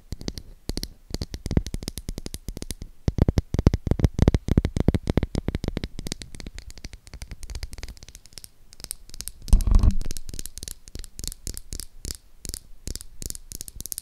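Long acrylic nails rapidly tap and scratch the surface of a solid pink oval Dove soap bar held in one hand, making dense, irregular, dull low clicks with short, dry decay. Around the tenth second, a louder scratching burst rises before the quicker, lighter tapping resumes.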